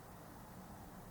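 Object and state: Nothing is struck.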